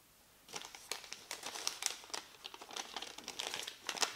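A small, thin white paper receipt or label, a flat sheet held in both hands over a black desk, is crinkled, folded and rubbed by fingertips. After half a second of near silence, dense, bright crackling and rustling begins, with sharp crisp snaps scattered throughout and almost no low end.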